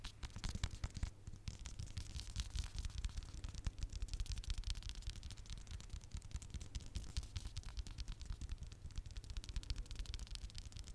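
Fingernails tap and scratch the cover and spine of a small red hardcover notebook held in one hand. Quick, dense taps and scratches run steadily throughout, with a low, hollow thump under short, bright clicks that die away almost instantly.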